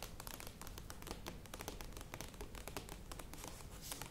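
Long nails tap quickly on the sides of a standing medium plastic yogurt tub, with some tapping near the lid. The result is a dense, quiet stream of short, bright, clicky taps that die away almost instantly, over a steady low background rumble.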